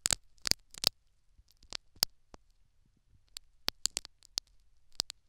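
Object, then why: Silicone dummy ear with foam plug, poked by a metal needle. A metal syringe needle pokes and scratches the foam plug and canal wall of a silicone dummy ear microphone. The result is a run of very short, sharp, bright clicks and scrapes with almost no low end. The clicks land in quick clusters separated by quiet gaps.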